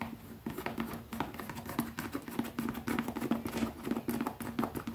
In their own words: ASMR | Fast tapping on a leather pouch 🐃